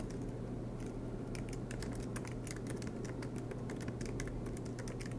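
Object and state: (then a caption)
Laptop keyboard typing. Fingertips tap out a run of typing on the black plastic keys of a MacBook Pro aluminum laptop. Light, bright clicks come in quick, uneven bursts over a steady low hum that holds at an even, quiet level throughout.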